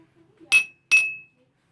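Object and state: Empty drinking glass.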